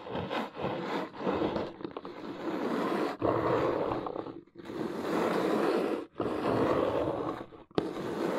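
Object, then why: Corrugated cardboard box. Long nails scratch and tap along the top edge of a large, hollow brown corrugated cardboard box. Dry, papery scraping runs in long, rough strokes with a few brief pauses between them, and a sharp tap cuts in near the end.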